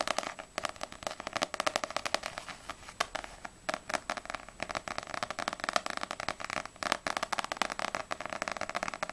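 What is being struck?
Paperback book with glossy paper cover.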